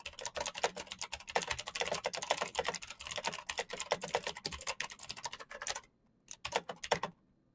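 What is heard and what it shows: Fingertips type quickly and continuously on a black plastic mechanical keyboard, producing a dense run of sharp, bright clacking keystrokes. The typing briefly pauses, resumes with a few last key taps, and then stops.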